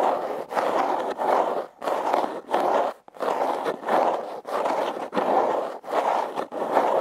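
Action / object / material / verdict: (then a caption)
scrape / corrugated cardboard box / cardboard / none. Long red nails scratch a hollow, red heart-shaped corrugated cardboard box that is being held. Ten separate rasping strokes follow each other in a loose rhythm, each a dry, papery scrape centered in the midrange around 700 Hz, with little low end and only a faint bright edge.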